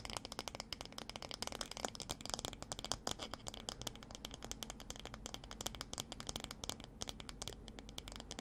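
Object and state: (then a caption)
Wooden hairbrush. Long dark fingernails tap and scratch the solid wooden back of a light wooden paddle hairbrush held in the other hand. A rapid, dense run of crisp, dry clicks and scratchy rustles fills the clip, bright and sharp, each tap dying away almost instantly.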